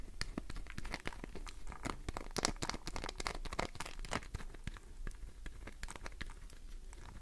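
Long nails scratch the surface of a solid green glycerin soap bar held in the palm, shaving off bits of soap. A fast, steady run of crisp, crackly scrapes and ticks with bright, papery edges sounds over a low, dull rumble for about seven seconds.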